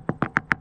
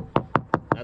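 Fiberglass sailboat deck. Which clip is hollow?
The second.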